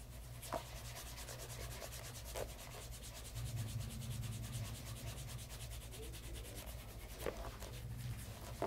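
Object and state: Pebble grain leather loafer.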